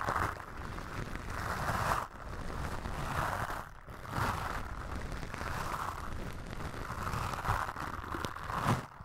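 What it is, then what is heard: Foam microphone windscreen being brushed. Toothbrush bristles brush and scratch across a black foam windscreen on a microphone. Dense, scratchy rustling comes in repeated sweeping strokes, concentrated in the midrange with a low rumbling body and little high sizzle. Brief dips in loudness separate some of the strokes.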